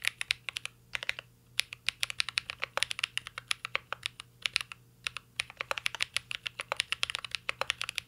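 A mint green Cyberboard R3 mechanical keyboard with a metal case and plastic keycaps is typed on continuously by the fingertips of both hands. Dense, bright, short keystroke clicks follow one another in quick bursts with brief pauses, with almost no low end and a faint steady hum underneath.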